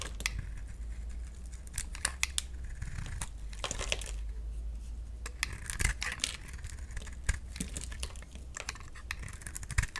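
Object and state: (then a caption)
Bar of soap being shaved. A utility knife blade shaves and scrapes a solid oval green bar of soap held in the hand, peeling off strips that fall away. Crisp, bright rasping scrapes and sharp little clicks repeat over a steady low hum.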